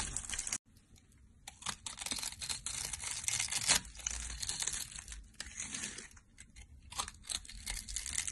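A solid, palm-sized brown rectangular bar of dry soap, pre-cut into a grid of small cubes, is held in the hand and scraped with a green-handled metal blade, crunching the cubes off onto a pile of soap bits. Dense, dry, bright crackling and crunching runs almost continuously, with a brief silence near the start and a louder burst midway.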